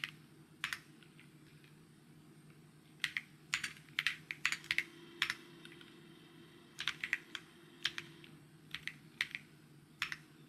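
Fingertips type on a white mechanical keyboard with plastic keycaps, producing sharp, bright taps in irregular bursts and pauses. Each click is short and dies away almost instantly over a faint, steady low hum.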